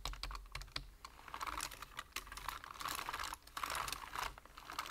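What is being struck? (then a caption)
Plastic computer keyboard. Fingertips of both hands tap fast on a black plastic computer keyboard with hollow keys. A dense stream of short, bright, clattering clicks comes in uneven bursts over a faint low rumble. Each tap dies away almost instantly.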